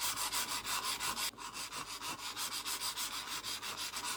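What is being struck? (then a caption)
Mouse sliding on a glass mousepad. A mouse is slid back and forth across the textured, spiky surface of a Kyomi Yuyo glass mousepad, making a bright, hissing scrape in 12 rhythmic strokes of about three per second. The sound sits mostly in the high range, with almost no low end and only a brief dip in the scraping partway through.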